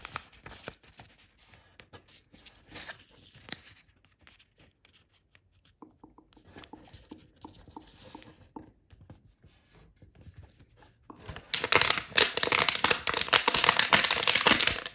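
A thin printed chiyogami origami paper sheet on a wooden table is folded and creased by fingertips while making a paper crane. Quiet, soft rubbing and light taps come in scattered bursts, then the sound turns into loud, dense, bright crinkling for the last few seconds.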